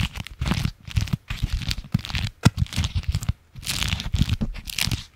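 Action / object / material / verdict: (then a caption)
scrape / beeswax-coated fabric wrap / waxed fabric / none. A folded, striped beeswax-coated fabric food wrap is held in the hands, crinkled and scratched with the fingernails. The result is dense bursts of crinkling and crackling: low, muffled handling thumps underneath bright, papery crackle, broken by short quiet pauses.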